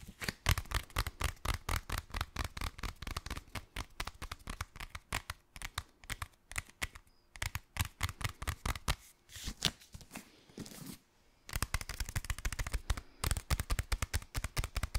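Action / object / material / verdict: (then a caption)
tap / hardcover book with glossy paper dust jacket / paper, cardboard / none. Fingernails tap and scratch the cover and spine of a solid hardcover copy of "Stalker" with a glossy paper dust jacket. Rapid, crisp, dry taps with almost no ring run throughout, broken around 10–11 seconds by a softer rubbing scratch before the quick tapping resumes.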